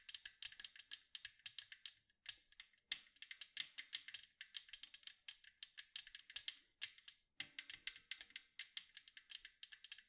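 Long acrylic nails tap rapidly on the striped side of a large, round, hollow metal cookie tin. The result is quiet, bright, clicky taps in quick bursts with brief pauses between runs. Each tap dies away almost instantly, with little low end and energy centered around 3.5 kHz.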